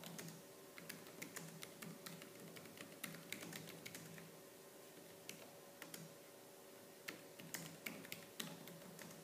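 Fingertips with purple-painted nails type fast on the black plastic keys of a laptop keyboard, producing quick, bright clicks and taps. The keystrokes come in rapid, uneven bursts over a steady low hum.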